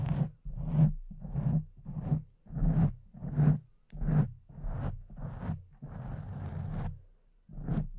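Long nails of both hands scratch a soft, porous pink foam windscreen covering a silver microphone. About ten muffled, low rustling scratch strokes sound in an uneven rhythm, each swelling and fading with a deep, close-up rumble and little brightness.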